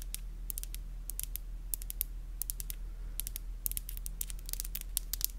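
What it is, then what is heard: Acrylic nails tapped together. Long black glossy acrylic nails are clicked and rubbed against each other in close-up, nail on nail. Rapid, irregular bright clicks and short scratchy rubs come in clusters with very little ring. A steady low hum sits underneath throughout.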